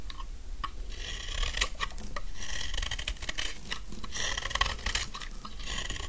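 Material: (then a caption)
Soap. The edges of a solid pink dry soap bar are shaved with a metal snap-off knife blade in repeated scraping strokes, with chips falling away. Each stroke makes a dry, crisp rasp with a bright hiss and ringing tones near 1 kHz, over a steady low rumble. Short clicks and ticks fall between the longer shaving passes.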